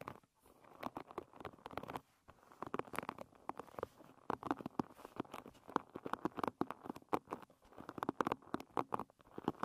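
Long red nails strum and scratch across the tips of the many wooden pins on a hairbrush lying bristles-up. The result is a dense, rapid patter of dry, short clicks and ticks, centered in the midrange around 500 Hz with brief bright edges, coming in uneven bursts separated by short pauses.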